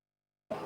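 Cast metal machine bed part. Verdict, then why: Solid. A solid cast metal part of a laser machine bed, the maker's own casting, is struck once for comparison with a hollow part. After near silence, a single sharp strike rings with a clear tone around 645 Hz that stays steady to the end of the clip. The solid part sounds normal.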